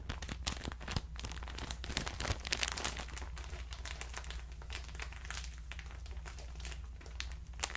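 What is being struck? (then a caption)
Plastic bag of cotton pads. A hand-sized clear plastic bag full of cotton rounds is squeezed and crinkled with the fingers, then held up near the ear. Dense, bright crinkling crackles run steadily throughout over a constant low hum, with a few slightly louder rustles early on.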